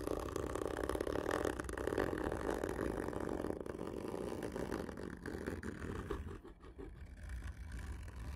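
Long fingernails scratch a large, hollow, black printed cardboard whisky gift tube lying on its side. A dense, hollow, low-mid rasping rumble runs continuously, then softens and thins for a moment near the end before picking up again.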